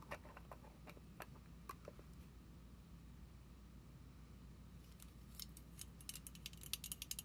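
A small purple plastic foam pump bottle with a clear cap stands upright while long nails tap and scratch its label and cap. Sharp, bright clicks and ratchet-like scratches ring over a steady low hum, sparse at first and then denser and louder in the last two seconds.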